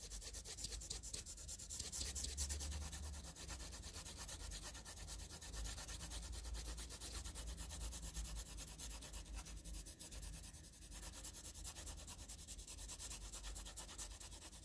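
A wooden graphite pencil scribbles quickly over a flat, heavily shaded sheet of graph paper, making a continuous scratching rub. The scratching is bright and steady throughout, made of many fast, closely packed strokes, over a low constant hum.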